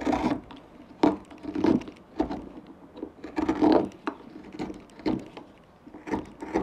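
A gouge carves chips from the bowl shape of a small, solid, pale wood pipe blank held in the fingers. It makes a series of short, dry scraping and chipping strokes with a woody midrange tone. Each stroke dies away quickly, with quiet gaps between.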